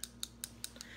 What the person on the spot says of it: You'll hear the ball, so just shake it really, really good